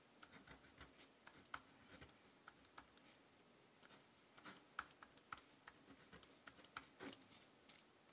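A pen writes the word "Handwriting" on the page of an open paper notebook resting on a table. Soft, bright scratching strokes come in quick, uneven bursts with brief pauses between them, and the pen's steady scrape across the paper stays quiet throughout.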